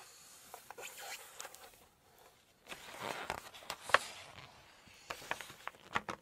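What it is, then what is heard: Glossy paper cookbook. Hands rest on and rub the glossy spread of an open Chinese cookbook, making soft, papery swishes and light taps, then long nails flip a page. The quiet rustling pauses briefly, swells into a smoother slide, and peaks in one sharp, bright crinkle as the glossy page turns, followed by scattered crisp ticks and brushes.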